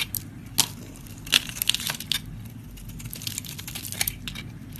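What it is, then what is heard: Soap bar scraped with a blade. A flat metal blade scrapes across a solid pink soap bar held close up, shaving off pink curls and shavings. Short, bright, crisp crackling scrapes come in uneven bursts over a steady low hum, with a few sharper snaps standing out.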